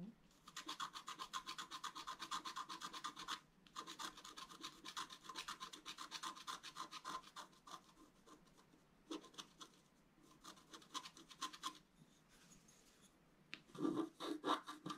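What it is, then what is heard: Scratch-art card being scratched. A wooden stylus scratches and rubs the coating of a thin, solid, flat black wax-coated scratch-art paper card, making rapid, irregular, bright raspy strokes at roughly four per second. The strokes run in bursts with a brief pause near the 3.5-second mark and quieter, sparser stretches later. A louder flurry of scratches comes at the end.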